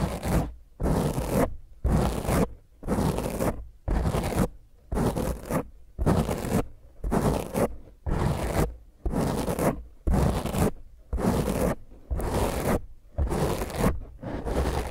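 Long fingernails on both hands rapidly scratch a round black foam windscreen over a microphone. The result is a steady series of rough, crackling scratch bursts, about one per second, with a heavy low rumble beneath a broad hiss that reaches high and bright. Short near-silent gaps separate the bursts.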